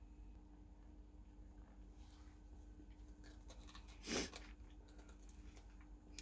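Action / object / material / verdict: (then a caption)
tap / baked pastry crust of a filled turnover / pastry / crisp. The crust of a hot pocket cooked in a Cosori Dual Blaze air fryer is handled, giving faint dry crackles over a low steady hum and then one sharp, bright crunch. The crust sounds very crisp, well cooked or even over-crisp.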